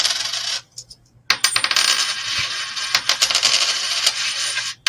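A 1968 coin, already shown to be magnetic, is bounced off a hard surface to listen for a silver ring. Bright, high-pitched clinks and rattling chatter die away almost instantly, with a brief quiet gap partway through. There is no lasting ring, so the coin is not silver.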